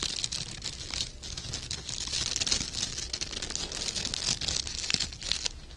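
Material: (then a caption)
Organza fabric. Loose loops of gold glittery sheer organza ribbon with wired edges are held in both hands close up while fingertips and short painted nails crinkle and rub the thin fabric. A steady, bright, dense crinkling fills the whole clip, scattered with sharper crisp ticks and faint low rumble underneath.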